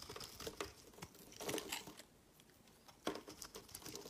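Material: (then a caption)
Soap. A metal utility-knife blade shaves flakes off the edge of a solid, palm-sized white bar of soap held in the hand. The result is a series of quiet, bright, crinkly scraping and carving strokes. Two denser bursts come around 1.5 and 3 seconds, with a brief pause between them.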